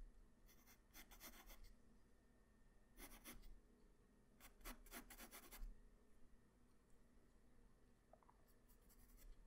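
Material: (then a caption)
Paper. A hand-held graphite pencil draws strokes across a flat white paper sheet, making soft scratching and rubbing sounds. Quiet bursts of bright, papery scratches come in clusters separated by short pauses, over a low steady hum.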